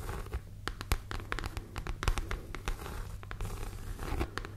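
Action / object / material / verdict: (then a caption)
scrape / pebbled leather handbag / leather / none. Long nails scratch across the textured front panel of a hollow, medium, structured red pebbled grained leather (or faux leather) handbag held close to the microphone. A quick run of short, dry scratching strokes and crisp ticks sits over a steady low hum.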